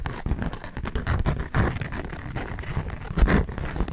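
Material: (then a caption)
Waxed cotton. A flat, thin polka-dot beeswax-coated cotton food wrap sheet is held taut while fingertips and long nails tap and scratch it. The result is a continuous run of soft, dull tapping and scratching with a heavy low thud and little high brightness, each hit dying away quickly.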